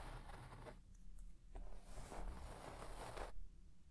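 A white plastic comb is swept quickly across the pile of a large red shaggy textile carpet, scratching the fibres. Soft, bristly scratching and rustling come in broad, hissing strokes separated by brief quieter pauses, over a faint low rumble.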